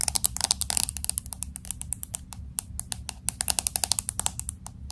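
Long acrylic nails tap fast on the glass back of a pink smartphone with an aluminum frame, held horizontally. A rapid, uneven run of sharp, bright clicks dies away almost instantly, with a dense flurry near the start, all over a faint low hum.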